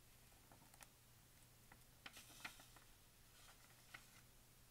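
A hand with painted nails sweeps over the pages of a thin paper pharmacy advertising flyer and turns them. Quiet, soft brushing is punctuated by four short, bright paper crinkles and ticks over a faint steady low hum. Each crinkle dies away almost instantly.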